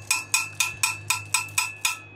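A double-walled metal tumbler is tapped eight times in a steady rhythm to check whether the gap between its walls is empty vacuum or filled with foam or asbestos. Each tap gives a bright, high metallic ping centered around 2.5 kHz with a short ring. The ringing shows an empty vacuum layer with no foam or asbestos filler.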